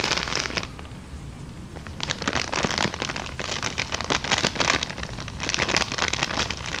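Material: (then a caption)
Paper. An empty small brown kraft paper bag, held upright, is tapped, rubbed and crinkled with long dark nails. Bright, dense crackling and crinkling bursts open the clip, ease into a quieter soft rustle for about a second, then return as rapid papery crinkles and taps through the end.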